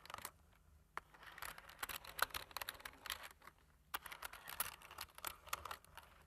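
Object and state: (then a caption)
Plastic computer keyboard. Fingertips press the keys of a black plastic computer keyboard in continuous typing. The quiet, sharp, bright clicks come in irregular bursts with brief pauses, and each tap dies away almost instantly.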